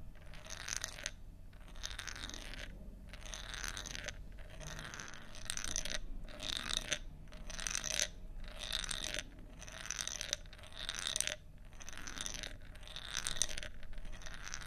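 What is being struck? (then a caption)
Bamboo tube with a bead inside. A long, thin hollow bamboo tube with a bead inside is held in both hands and tilted back and forth, so the bead rolls from end to end. This makes a steady series of short, bright, rattling rolls separated by brief pauses. A faint low hum runs underneath throughout.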